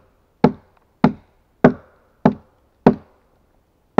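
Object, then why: Pine log. A steel axe hews and chops the flat face of a solid pine log resting on a stack. Six sharp, evenly spaced woody chops each land with a dull, low-mid thud and die away quickly, with silence between strikes.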